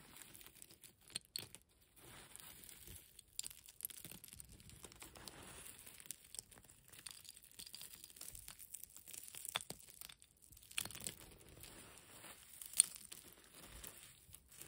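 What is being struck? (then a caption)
Concrete rubble pile. Dry grey concrete rubble chunks and flakes are picked up by hand and crunched while long nails scratch across the pile. Quiet, bright crackling and gritty scraping run throughout, with many short crunches and a few sharper clicks.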